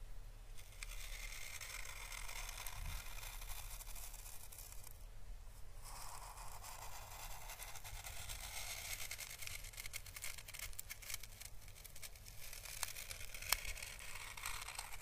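An orange dried Chinese lantern (physalis) husk, a papery hollow shell held steady by fingers, is brushed slowly with a small paintbrush. A soft, continuous bright scratching and crackling plays over a low, steady rumble, with a few sharper crackles near the end.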